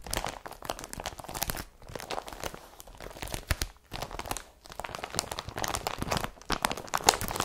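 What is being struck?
Woven polypropylene carrier bag.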